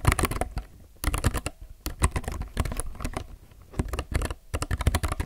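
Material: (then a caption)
Plastic. Both hands type continuously on a solid, full-size, low-profile mechanical keyboard with plastic keycaps and a grey case. Rapid runs of short, dry keystrokes with a deep, low-heavy thock and bright clicky tops come in bursts separated by brief pauses, each stroke dying away almost instantly.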